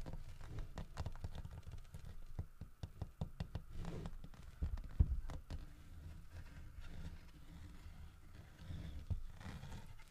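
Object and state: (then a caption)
Carved wooden bear figurine. A large solid carved wooden bear figurine holding a painted wooden fish in its mouth lies on a wooden table as fingertips and short nails tap and scratch along the carved fur grooves on its back. The result is a steady run of soft, dull, low knocks with very short ring, mixed with faint scratching, and one slightly louder knock near the middle.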